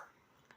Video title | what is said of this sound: 1 वाटी रव्यापासून बनवा पोटभरीचा कुरकुरीत नाश्ता #nashtainmarathi #new #snacks #nashta #youtube | एकदम असा मस्त कुरकुरीत आवाज येतोय